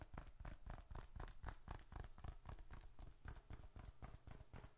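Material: Leather.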